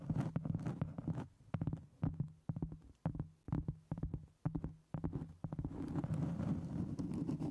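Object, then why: Cork board. Long almond-shaped acrylic nails scratch and tap the top surface of a solid round flat cork board or trivet, about 25 cm across and 1 cm thick, held close over a microphone. Steady, dense scratching opens the clip, gives way to a run of short, dull, separate taps in the middle, and returns to continuous scratching at the end. The sound is low and muffled, with a faint hum underneath.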